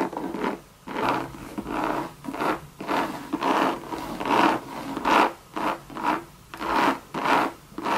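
Long red nails scratch the coated canvas and leather trim of a hollow Louis Vuitton Monogram bucket bag. The result is a series of dry, rasping strokes that rise and fade in rhythmic bursts, with a papery midrange scrape centered near 900 Hz and almost no low end.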